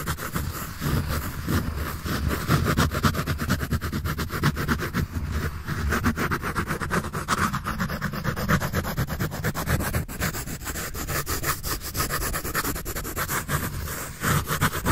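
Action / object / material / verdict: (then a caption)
scrape / pencil on paper sketch pad / paper / none. A pencil tip rubs and scratches across a sheet of a large white paper sketch pad held upright. Rapid, uneven strokes of about four per second form a steady, continuous rasping texture that stays fairly even in loudness throughout, with most of its energy low.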